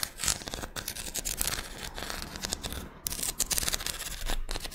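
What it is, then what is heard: Scallop seashell. Long red nails scratch and tap the ridges of a small, thin, curved pink-white ribbed scallop shell held in both hands. The result is a dense, bright, papery rasping broken by quick dry clicks, with a brief lull around the three-second mark before the scratching picks up again.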